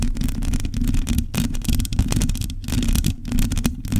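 Long nails scratch across the bare metal mesh grille of a hollow microphone head. The result is a dense, continuous scraping with a heavy low, boomy rumble underneath and rapid bursts of brighter, raspy texture on top.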